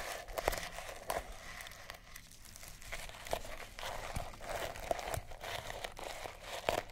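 A small sisal rope–wrapped cat toy is held in the hand and scratched and rubbed with long nails and fingertips. It gives a steady, dry, crinkly scratching with a rough fibrous rustle, broken by sharp, brief clicks and snaps scattered through the clip.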